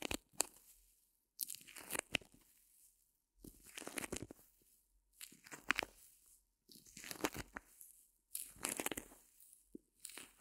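A small white solid reticulated foam block is squeezed and crunched in one hand with long nails over faux fur. Repeated bursts of dry, crackling crunches with a bright, hissy edge rise and fade, separated by short silences. The sound is quiet and close, with almost no low end.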